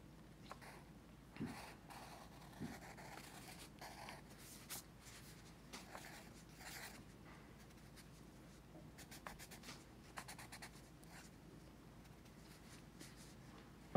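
A pencil tip scratches drawing strokes across a paper sketchbook page resting on a teal folder. Short, quiet, bright scratches come in irregular bursts over a soft, steady low hum, each stroke dying away almost at once.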